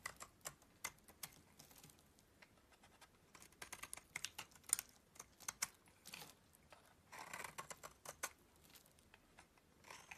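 A solid yellow bar of soap, held in the hand, is shaved and scraped with a utility knife blade. Quiet, dry, bright scraping ticks and short shaving strokes come in quick irregular succession, with a longer rasping scrape around seven seconds. The sound has almost no low end or ring.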